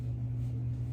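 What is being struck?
Nothing is struck.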